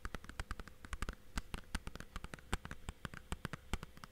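Fingertips tap the face and edges of a thin, hollow blue plastic Blu-ray/game case. The result is a quick, irregular run of short, dry clicks and soft knocks with a low, hollow body and almost no ring after each tap.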